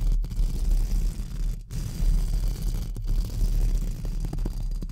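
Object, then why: Metal mesh microphone grille brushed with plastic bristle brushes. Two pink plastic spoolie brushes held in fingertips scratch and brush across the hollow round metal mesh grille of a large silver USB microphone. The result is a dense, low, rumbling scrape, with nearly all of its energy under 200 Hz and a steady low hum. The scraping is briefly interrupted by short gaps where the brushes lift off the grille.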